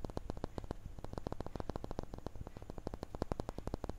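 A small, solid, clear laser-engraved glass crystal cube is held in one hand and quickly tapped and scratched with the fingertips and nails of the other hand. The result is a rapid, uneven run of short, dull, low-heavy taps that die away almost instantly, over a faint steady low hum.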